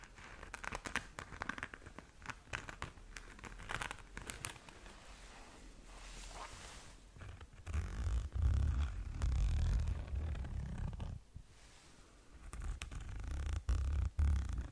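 Long nails scratch and tap across a flat pink glitter-covered zip pouch held close in front of the mic. The first half is quiet, dry, crinkly scratching with sharp, bright ticks. After about 8 seconds the sound turns into louder, deep, muffled rubbing and thumping that dips briefly near 12 seconds and then returns.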